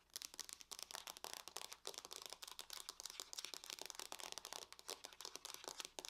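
Long fingernails on both hands tap rapidly across the lid of a closed silver aluminum laptop. The result is a quiet, dense stream of short, dry, bright clicks with almost no ring and no low end.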